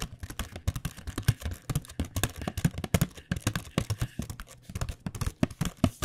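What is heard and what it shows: A flat printed cardboard box of paint pens, with the pens inside, is held in the hand and tapped rapidly with long dark-painted nails. The taps are quick, dull and hollow, mostly low in tone, with a light clicky edge and almost no ring after each one.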